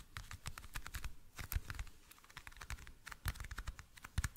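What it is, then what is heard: Clear plastic toothpick case. A small, hollow, clear plastic toothpick case is tapped rapidly with fingernails. Quick, dry clicks with almost no ring sit over a soft, low, hollow thump, in uneven bursts that rise and fall in loudness.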